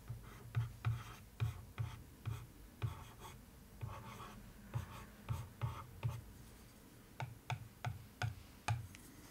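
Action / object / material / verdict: scrape / paper-covered cardboard box lid / cardboard / none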